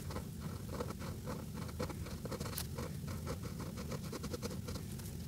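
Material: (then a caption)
Paper. A green-capped Sharpie felt-tip marker colors a flat paper coloring page resting on a drum, its tip scratching and rubbing the paper in small strokes. The result is a quiet, steady scratchy patter of short rubbing strokes over a low, rumbling background.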